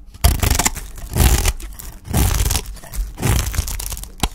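A utility knife blade shaves and scrapes thin slices off the edge of a solid green Dalan olive oil soap bar held in the hand, above a pile of soap shavings. Long, dry, crunchy scraping strokes rise and fade one after another, with a short, sharp tick near the end.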